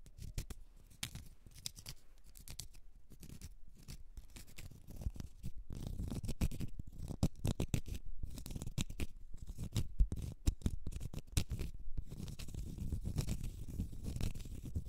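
A small, solid, round cork stopper is scratched with long red nails across its flat face and edge, producing a quiet, dense stream of dry, rasping scratches. The sound is mostly low and muffled, with short, fast-fading strokes, and it grows slightly louder and busier after the first few seconds.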